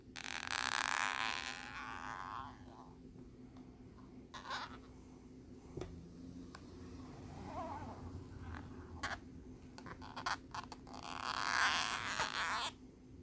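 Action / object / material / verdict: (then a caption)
scrape / plastic lenticular card scraped with a metal pin / plastic / none. A metal bobby pin held in the fingers scratches across the same plastic lenticular nebula card. Long, bright, rasping scrapes open and close the clip, with scattered sharp ticks and short scratches in the quieter stretch between, over a faint low steady hum.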